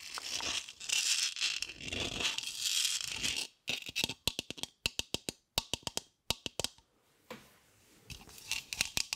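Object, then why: Polystyrene foam heart. Long acrylic nails scratch across a solid, palm-sized white polystyrene foam heart held in the hands, making a dry, crinkly, high-pitched squeaking and rasping. In the middle the scratching gives way to a run of sharp, bright taps. Then softer scratching returns.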